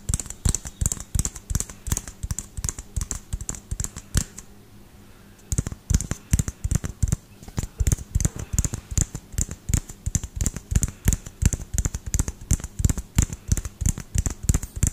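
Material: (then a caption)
Plastic. Fingertips and nails tap quickly on the hollow frosted plastic dome of a small LED light bulb held in one hand. The taps come in rapid, uneven bursts of short, dry clicks, each with a dull low knock and a bright tick, and they stop briefly around the middle before resuming.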